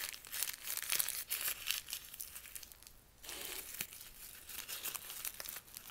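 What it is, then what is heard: Crumpled sheet of paper. A single sheet of thin white lined notebook paper is held in both hands, unfolded and crushed back into a small ball, with the fingers squeezing and rubbing it. The result is a dense, bright crinkling and crackling with almost no low end, briefly easing to a softer rustle midway before picking up again.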